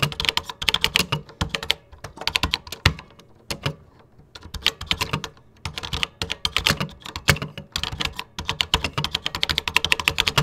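Fingertips type continuously on a vintage 1980s plastic computer keyboard with cream plastic keycaps. Rapid bursts of bright, crisp clacks with a soft low thump under each keystroke die away almost instantly. A few brief pauses break the flow before typing resumes.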